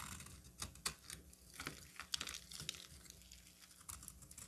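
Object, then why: Soap bar cut with a knife. A solid orange bar of soap held in the hand is scraped and carved with a utility knife. Quiet, dry, crisp scratches and soft crunches come in uneven bursts, with bright, hissy detail and very short, clicky attacks.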